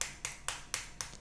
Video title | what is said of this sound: Beli Chargeran kecil begini Hampir Setengah Juta, worth it gak sih 😭 | kalau diketok nih enggak terlalu padat agak sedikit ada kopongnya dikit ya